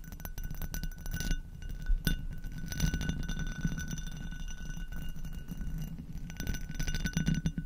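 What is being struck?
Hobnail glass goblet.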